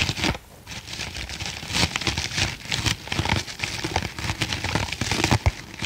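Fingernails scratch across the top of a soft, porous, hand-sized green foam kitchen sponge with a tan middle layer, held in one hand. The result is a dense run of crinkly, crackling scratches, bright and hissy with a low rustle underneath, surging and easing without real pauses.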